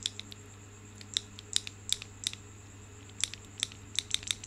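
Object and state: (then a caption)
Marble stone grape cluster shaken. A cluster of solid marble stone grapes is held by the stem and shaken, so the stone grapes clack together. Sharp, bright clicks come in irregular bursts, each dying away almost instantly, over a faint steady low hum.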